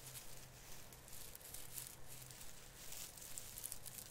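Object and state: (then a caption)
Plastic artificial tree branch being crinkled. Both hands pinch and rub the tips of a plastic artificial Christmas tree branch, the plastic needles of the artificial fir making a soft, continuous crinkle. Bright, dry rustling swells and fades in a loose rhythm over a quiet, steady low hum.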